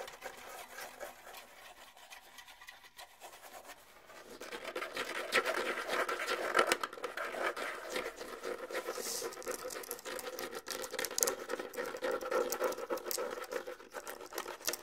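Fingernails scratch quickly across both pale hide heads of a pair of small, hollow rawhide bongo drums, making a dry, rapid rasping patter. It starts faint, grows louder after a few seconds, and stays busy in the midrange with a bright edge and almost no low end.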